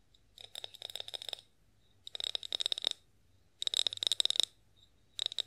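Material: Glass.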